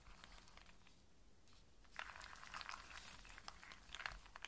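A loose pile of dry in-shell walnuts and small hazelnuts is scratched and shuffled by fingertips and long nails, the hard shells rubbing against each other. Quiet at first, the sound becomes a denser run of bright, crisp clicks and rattling crinkles from about two seconds on.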